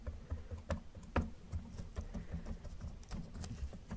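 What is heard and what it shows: Gloved fingertips tap rapidly on the hood and roof of a hollow yellow plastic Camaro model car. The result is a quick, irregular patter of soft, dull, hollow knocks, mostly low in tone, with each tap dying away almost immediately.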